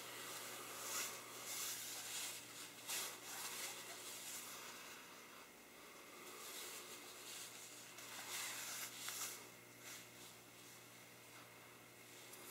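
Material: Nothing is struck.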